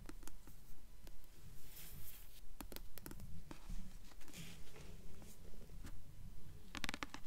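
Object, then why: Paperback book with glossy paper cover. Long acrylic nails tap and scratch the glossy paper cover of a blue paperback novel, "Delirium," held upright in both hands. Soft, low thuds arrive in a steady rhythm of about 15 taps, mixed with faint papery scratching and a few sharp, bright clicks.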